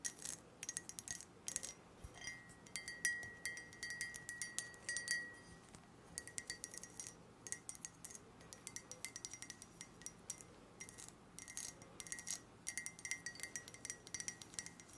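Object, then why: Glass skull-shaped mug. A hollow, empty, purple-tinted glass mug shaped like a skull is tapped and scratched with long nails while held and turned. Quiet, rapid, bright clicks and clinks come in dense bursts over a soft scraping hiss, some with a brief glassy ring near 1.9 kHz that fades almost at once.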